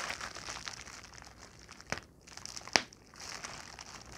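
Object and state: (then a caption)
Plastic bubble wrap. A large sheet of clear plastic bubble wrap with air-filled bubbles is pinched and twisted with fingertips and nails, giving a steady, bright crinkling and rustling. Two sharp pops stand out as bubbles burst, the second louder than the first, and then the soft crinkling continues.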